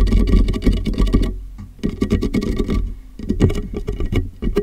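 Fingertips of both hands tap the sides and base of a large, empty, clear plastic water jug with a molded handle, hung hollow and upside down over a microphone. The result is a rapid, hollow patter of low, boomy thumps with almost no ring, broken by two brief quieter lulls.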